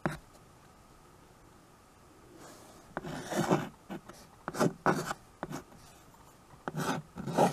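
White chalk held in the fingers scratches across the surface of a small handheld chalkboard with a wooden frame. A faint tap opens a quiet pause, then short dry, raspy writing strokes come in bursts, some quick and some drawn out, each stopping abruptly.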